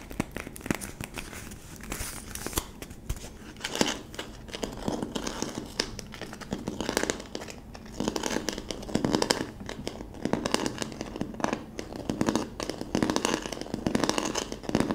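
Long nails scratch and press the clear plastic film wrapped around the end of a hollow plastic bottle with a yellow label, held sideways. Dense, continuous crinkling and crackling runs throughout in irregular bursts. The sound is broadband and crisp, with quick ticks and no lingering ring.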